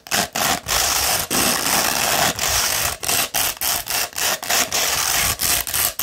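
Long red fingernails scratch quickly over the gritty side of a hollow, rolled tube of beige coarse 60-grit sandpaper held in one hand. The result is a rapid, uneven series of bright, hissy, rasping scrapes, a few drawn out longer, separated by brief silences. There is almost no low end.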